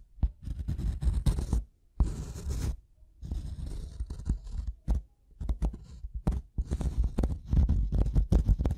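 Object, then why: Wooden block. A solid, light-colored wooden block is tapped and scratched on its top surface with the double metal prongs of a pink-handled tool. Close, dull low thuds mix with bursts of dry scraping and rustling, each tap dying away almost at once between short pauses.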